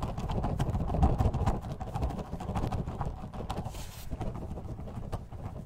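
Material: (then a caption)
Plastic. A gloved hand tilts and shakes a clear plastic bottle with a white cap, partly filled with purple orbeez water beads. The beads make dense, irregular, muffled low thuds and soft rattles, loudest in the first second and a half before settling into a steadier, quieter shaking.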